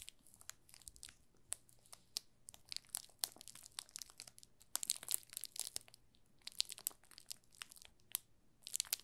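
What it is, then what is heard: Plastic film wrapping a bar of soap. A yellow solid bar of soap wrapped in clear plastic film with a label on the back is held in both hands while fingertips rub and press the film. It gives quiet, dry, bright crinkling and crackling in dense bursts of short snaps with almost no low end.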